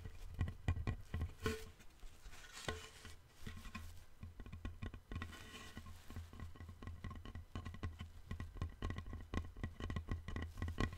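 A long, thin, flat, light-colored solid wooden board, held in both hands, is tapped with fingertips and nails along its surface. Many quick, dull taps and light clicks patter in a steady, uneven stream. A low hum sits underneath throughout.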